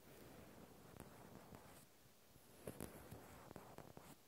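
A small solid natural cork stopper is held in the hand while fingertips tap its flat top. Several soft, dull, muffled taps are heard, each dying away almost at once, over a faint steady hiss. The taps are quiet and low, with little brightness.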